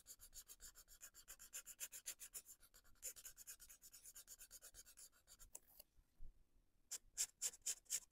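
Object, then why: Felt-tip marker on a paper colouring page. A hand with dark nails outlines and colours a paper colouring book page on a desk using the fine tip of a felt marker, making short, scratchy strokes. The strokes come as a steady run of bright, airy scratches, about four per second, then pause briefly near the six-second mark. A final burst of louder, sharper strokes follows.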